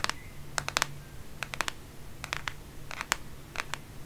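Long painted fingernails tap and scratch the plastic back or case of a black smartphone held in one hand in bed. Quick, sharp, bright clicks come in small clusters, each dying away at once with no ring, over a quiet low hum.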